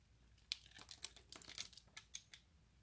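A hand-sized, solid, translucent orange glycerin soap bar held in the fingers is scraped and shaved into small cubes with the blade of an orange utility knife. Quiet, bright scraping and crinkly crunching clicks come in short, sharp bursts, with about ten distinct hits standing out.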